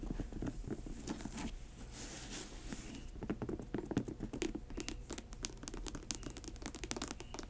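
Long acrylic nails rapidly tap and scratch the glossy upper of an upright grey patent leather high-top sneaker. The result is a dense patter of quick, dry clicks mixed with bright scratchy rasps. The first few seconds are busier and hissier, and the taps become sharper and more distinct after that.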